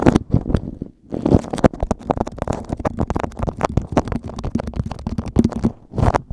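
Fingertips squeeze, scratch and crinkle a beeswax-coated cotton food wrap sheet laid over a microphone. A dense run of close, muffled crackles and soft crunches sits mostly in the low end, with a brief lull just before the one-second mark and another near the end.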